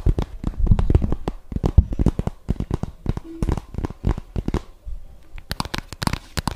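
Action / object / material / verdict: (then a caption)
tap / cardboard palette case / cardboard / none. A closed, hand-sized, flat rose-gold cardboard eyeshadow palette case is held in both hands close to the mic and tapped and scratched with long dark-painted fingernails. The result is a rapid, irregular stream of short, dry, crackly clicks and thuds, heavy in low tones, with brief scratchy bursts between them.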